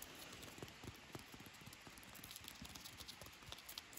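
Fingers grip a solid natural stick section covered in dry, papery, lichen-spotted bark, peeling and crunching the bark flakes. The result is a quiet, steady stream of irregular, bright crackles and brittle snaps over a soft, hissy bed, with a few sharper pops standing out.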